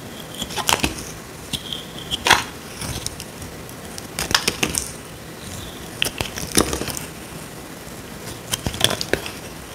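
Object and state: Dry bar of soap.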